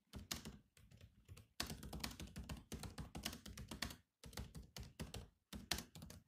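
Fingertips type continuously on the black plastic keys of a silver laptop keyboard. The rapid taps sound dry and clicky, each with a low thump and a bright click that dies away almost instantly. They come in quick bursts separated by brief pauses.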